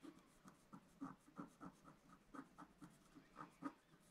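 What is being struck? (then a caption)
Scratch-art paper sheet with wooden stylus. A wooden stylus scratches near the bottom edge of a black-coated scratch-art card lying flat on a table, held down by one hand. A quiet series of short, dry scratching strokes is heard, each a brief, slightly hissy rasp that fades almost at once.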